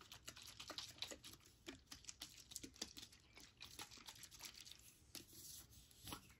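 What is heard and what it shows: A Suave hand sanitizer spray in a clear or white plastic bottle with a blue cap, filled with liquid, is held and tapped with long nails. The rapid, uneven taps are dry, bright plastic clicks that die away almost instantly.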